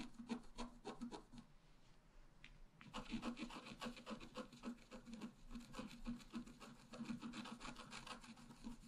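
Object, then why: Black-coated scratch-art paper card scratched with a wooden stylus. A wooden stylus scratches continuously across a flat, black-coated scratch-art paper card. Quick, dry, rasping strokes carry a bright, scratchy edge, ease into a short, quieter lull, then pick up again in a fast, uneven rhythm.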